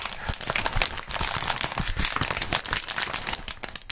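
A clear plastic bubble wrap sheet is stretched and crumpled by gloved fingertips. It makes dense, bright crinkling with a steady stream of sharp crackles and small pops that run continuously throughout.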